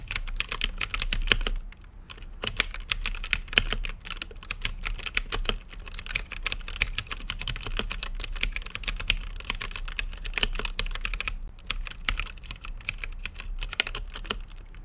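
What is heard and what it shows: Fingertips type steadily on a green-lit mechanical keyboard with plastic keycaps set in a clear acrylic case. The result is a dense run of short, bright, clacky keystrokes with a low thocking body and no ring. There are brief lulls near the 2- and 11-second marks.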